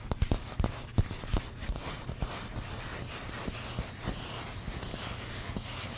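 Long pink nails tap and scratch the surface of a hand-sized stack of thin, solid orange craft foam pumpkin-shaped sheets. Soft, dull taps with a low thump come close together in the first second or two, then give way to a steady, faint scratching hiss with occasional lighter taps.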